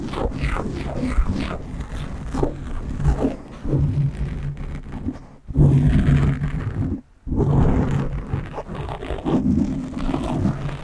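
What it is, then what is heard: Foam microphone windscreen being scratched. Hands cup a black foam windscreen on a microphone, then fingertips and nails scratch its top. The result is a dense, low, rumbling scratch and rustle with a deep boomy thump, broken by a sudden drop just before halfway and a near-silent gap about two-thirds through before the scratching resumes.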